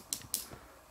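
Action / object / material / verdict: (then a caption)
tap / metal charging-cable connector housing / metal / none. Two light taps on the metal front part of an AUKEY CC-T7 Qualcomm Quick Charge 3.0 charging cable connector give short, bright clicks with almost no ring. The clicks confirm the connector's front section is metal, like the rest of its body.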